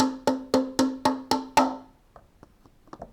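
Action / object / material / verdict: tap / cup tapped with a pen / unknown / empty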